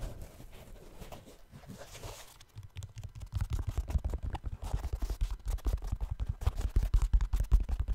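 Fingertips tap and scratch the upper of a black synthetic mesh trail running shoe near the laces. It opens with soft, hissy scratching, then shifts to a quicker, uneven run of dull, low, muffled taps that grow louder toward the end and die away almost instantly.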